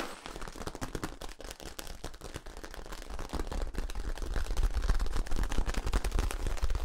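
Fingers scratch and tap along the ribs of a long, hollow yellow corrugated plastic tube held upright. Rapid, irregular clicks and scrapes with a deep, hollow low thump build steadily louder toward the end.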